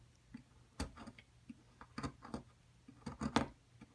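A flat metal chisel scrapes and chips chunks away from a solid white plaster excavation block held flat. About nine short, dry scraping clicks and crunches with a low, woody body die away almost at once, separated by quiet gaps over a faint low hum.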